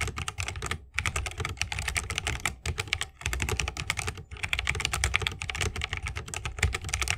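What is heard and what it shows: A 60% mechanical keyboard with a bamboo case and plastic keycaps is typed on continuously with the fingertips of both hands. Rapid, dense keystrokes produce sharp, bright clacks over a deeper thocky body, with each strike dying away almost instantly. A few brief pauses break up the flow.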